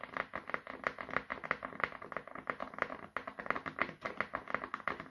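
A small, solid brown wooden oval brush back is held in both hands and tapped repeatedly with fingertips and short nails. About 35 quick, dry taps come in an uneven, rapid rhythm, each a crisp, hollow-sounding click centered in the upper mids. The clicks have bright edges, almost no low end and no ring after each tap.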